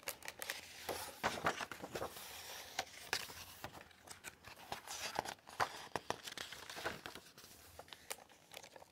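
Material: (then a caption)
Paper. A large illustrated hardcover book lies open on a wooden table while its thick, glossy paper pages are turned and flipped by fingertips with long acrylic nails. Quick, dry rustles, crinkles and flutters come one after another, bright and airy with almost no low end, each snap dying away almost at once.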